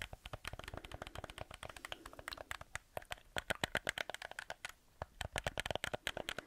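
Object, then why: Plastic game controller. A black hollow plastic PlayStation controller is held up in both hands while fingertips and nails tap and scratch its shell, buttons and grips. A rapid, irregular stream of short, dry, clicky taps with bright edges dies away instantly, mixed with soft scratching. A brief lull comes just before the five-second mark, then the tapping resumes.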